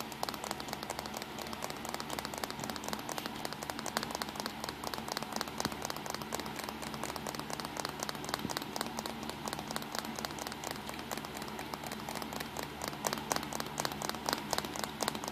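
Fingertips tap rapidly on the body of a small black plastic compact digital camera, resting on a towel with its back side, screen and buttons facing up. A dense, steady stream of short, dry, bright clicks continues throughout, each tap dying away almost instantly.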